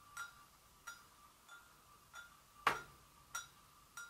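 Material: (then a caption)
Porcelain. Long nail tips tap lightly on the outer sides of an empty white porcelain gravy boat, making seven evenly spaced soft, clinking ticks. Each tick has a brief, bright ring that fades quickly, and one tap near the middle is noticeably louder than the rest.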